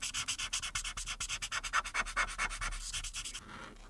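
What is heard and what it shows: A hand with long red nails rubs the felt tip of a white plastic marker across a printed paper coloring page lying flat on a dark board, first in orange strokes on the arm and then in blue on the earrings. The result is a quick, fairly steady run of bright, dry scratching and rubbing strokes on the thin, solid paper, fading to a softer hiss at the end.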